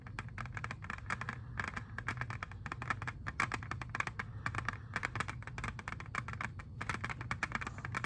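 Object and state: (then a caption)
Plastic CD jewel case. Fingernails tap rapidly on a clear, hand-sized, hollow plastic jewel case holding an Xbox 360 disc, and the case is turned at the end. The result is a dense stream of crisp, short plastic clicks with a bright edge, centered around 1 kHz, over a steady low hum.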